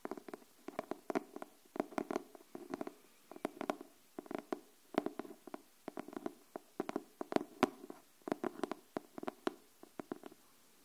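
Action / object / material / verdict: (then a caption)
tap / cardboard hardcover notebook / cardboard / none. Long nails tap quickly on the cardboard cover of a pink hardcover paper notebook held upright. The result is bursts of short, dry, hollow taps centered around 300 Hz, with bright clicky tops and almost no ring, separated by brief pauses.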